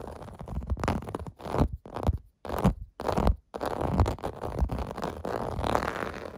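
Fingertips and nails scratch and tap across a clear-blue plastic bath mat with domed bumps. Dry scratching bursts are heard, broken by short silent gaps, with a low, muffled body and little high content. Occasional light taps stand out within the bursts.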